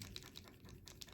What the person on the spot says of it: Shaking it up. You can hear that ball bearing in there.